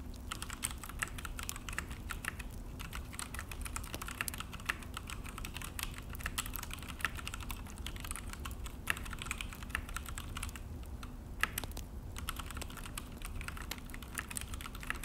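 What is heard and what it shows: Both hands type steadily on a full-size Akko mechanical keyboard resting on a desk, with an orange plastic case and black plastic HyperX keycaps. Fingertip key presses make a fast, continuous stream of short, crisp, clacky plastic clicks with bright tops, over a steady low rumble.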